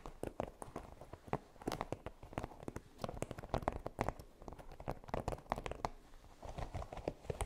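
Long nails scratch and tap quickly across a flexible, flat red silicone baking mat covered in small pyramid spikes. The result is a dense run of short, dry clicks and soft scratchy rustles that stop almost instantly, centred in the low-mid range with little high content.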